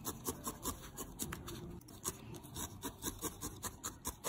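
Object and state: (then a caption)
Felted wool ball being needle-felted. A small, solid, grey-lilac needle-felted wool ball held in the fingertips is repeatedly stabbed with a thin steel felting needle. Around twenty short, rasping, rubbing stabs follow one another at an uneven pace, each with a soft scratchy bite and a bright, airy hiss.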